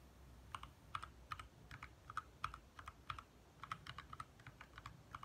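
Both hands type fast with their fingertips on a compact 60% backlit mechanical keyboard with lit plastic keycaps. Each tap is a short, sharp clack centred around 1.2 kHz with brief high ticks, coming in quick uneven bursts over a low, steady background rumble.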